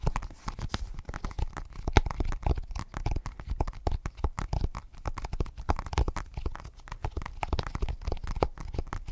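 Fingertips and short nails tap and scratch a smudged glass tablet screen in a blue rubber case, held close to the mic. The sound is a dense, fast run of soft, short taps with a dull low thump, mixed with dry scratching across the glass, continuing steadily throughout.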